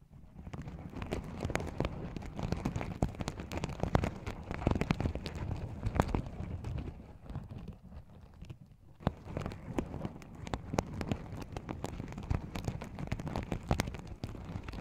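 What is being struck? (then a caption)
Sequin-covered fabric pouch. Fingertips and nails rub the sequins on the sides of a small, open, empty sequin-covered fabric pouch. The result is a dense, continuous rustle of scratchy clicks with a heavy low-end, easing briefly near the middle before resuming.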